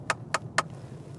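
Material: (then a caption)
Hard plastic. A ring is tapped three times on the hard plastic dashboard top of a VW T-Roc, giving three sharp, short, clicky knocks with no ring-out. The hard knock shows the dash top is hard plastic rather than soft-touch material, which is poor for a car starting at £19,000, and the Polo has a better dashboard top.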